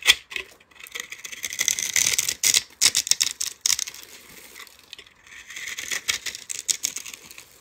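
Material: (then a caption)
Soap. A metal utility-knife blade scrapes across the pre-scored surface of a palm-sized, solid lime-green soap bar with a dark glitter coating, held in hand, breaking off small cubes. The sound is a dense run of crisp, bright crackles and sharp little snaps in two bursts, with a brief quieter pause between them. It has no low-end weight and each crack dies away almost at once.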